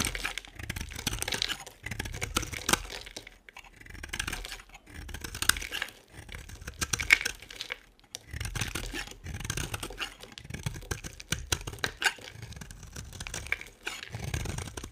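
A solid, hand-sized white bar of dry soap is held in one hand and scraped and carved with the blade of an orange utility knife, with the flakes piling up on the table. The cutting makes dense, crisp, bright scratching and crackling in repeated strokes broken by brief pauses, with soft low thuds underneath.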